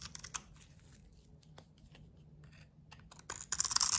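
A metal utility knife blade shaves flat across a solid, hand-sized bar of soap with a blue painted, glittery coating. Soft, bright scraping crackles come in short scattered bursts with quiet gaps, then grow into a louder, denser crisp shaving toward the end.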